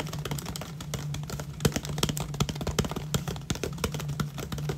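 Fingertips and nails tap and scratch the sides of an empty, hollow 500 ml clear plastic water bottle with a paper label and cap. Quick, crisp ticks and rustling scratches come in a rapid, uneven stream, with short dry decays over a steady low hum.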